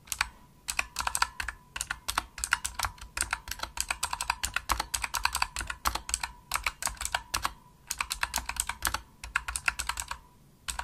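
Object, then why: Plastic mechanical keyboard keys. Fingertips with medium nails press the hollow-shelled keys of a pink full-size plastic Razer Huntsman mechanical gaming keyboard with RGB backlight. The typing is fast, dense and clicky, with sharp bright clicks in bursts and short pauses between them. A faint steady tone runs underneath throughout.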